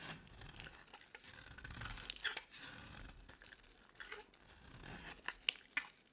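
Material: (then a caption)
Soap. A metal box-cutter blade shaves an oval, palm-sized, solid bar of dry yellow soap held in one hand, peeling it into long crumbly curls. The result is a steady, bright, dry scraping and crunching, broken by a few sharp crackling snaps near the end.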